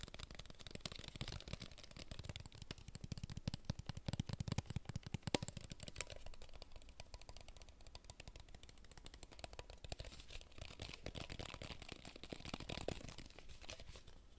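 Fingertips tap quickly and continuously on a clear plastic water bottle with a label, apparently empty and held in the hands. The result is a dense, fast patter of short, dry clicks with a hollow low thump beneath a bright crackle. It stays quiet and steady throughout, with slight swells in intensity partway through and near the end.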